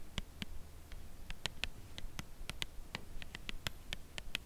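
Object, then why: Cardboard chocolate bar box. Long acrylic nails tap slowly on the corner and edge of a white Lindt Creation Crème Brûlée cardboard box holding a chocolate bar. About 18 short, dry clicks with a bright upper tone near 3 kHz, each dying away almost at once over a quiet low background.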